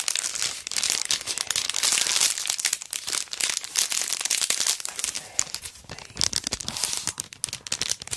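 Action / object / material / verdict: scrape / sticker strip in a thin plastic sleeve / plastic / none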